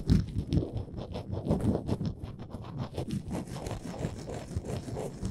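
Long nails scratch along the ridged edges of a small, solid, printed wooden Canada souvenir ornament. The result is a steady series of dry, rasping strokes, dense in low frequencies with a faint bright hiss, each stroke starting and stopping abruptly.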